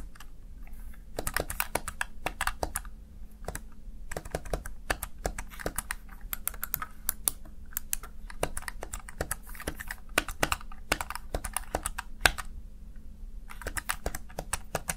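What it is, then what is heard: Plastic gaming keypad being typed on. Fingertips rapidly type on the plastic keys of a small backlit Razer Tartarus Chroma gaming keypad. Quick bursts of sharp, bright clicks run with brief pauses over a faint steady low hum. Each click dies away almost instantly.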